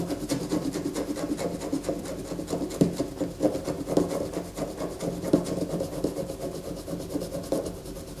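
A solid bar of white soap resting on a paper poster is held and scratched firmly with long fingernails, producing a continuous dry, rasping scrape. The sound is dense and mid-toned with repeated stroke accents, a steady hum-like low band, and little high brightness.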